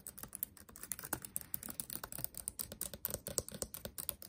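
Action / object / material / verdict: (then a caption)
tap / plastic laptop keyboard keys / plastic / none. Fingertips tap and type across a backlit laptop keyboard with black plastic keys. A quiet, rapid run of short, dry clicks follows, each one a crisp, bright tick with a soft low thud under it, dying away almost instantly.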